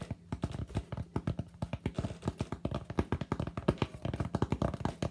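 Fingertips tap quickly on the flat front surface of a solid white expanded polystyrene (styrofoam) slab held in both hands. The result is a rapid, uneven run of short, dull, hollow taps, mostly low in pitch with almost no bright content. Each tap dies away almost instantly.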